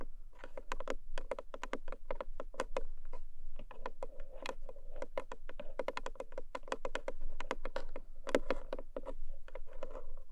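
Long manicured nails of both hands rapidly tap the lid of a long, narrow black cardboard gift box with a textured paper surface, lidded and likely hollow. Crisp, dry clicks run in quick uneven bursts, each with a short hollow body around 530 Hz and almost no ring. The tapping is dense and steady throughout, with no pauses.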